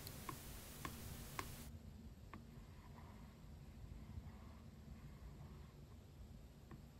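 A yellow spiral journal lies flat, its cardboard back cover covered in glossy vinyl stickers. It is tapped with the tip of a white plastic stylus pen, giving short, crisp ticks, and then with fingertips, giving softer, duller taps. A low, steady rumble runs underneath, with a bright hiss during the first second and a half.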